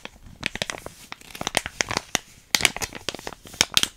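A small, flat, sealed plastic foil hair mask sachet with a yellow print, still filled, is scratched and crinkled with long painted nails and fingertips. The result is a quick series of sharp, bright, dry crackles and crinkles with almost no low end. Each crackle stops at once, with quiet gaps between them.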